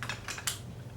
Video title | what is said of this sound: Unboxing / Unbagging ~ Ipsy ~ June 2015 / J.Cats, Smashbox, Dr. Brandt, treStique, Keratherapy | Hear that hollow sound of emptiness?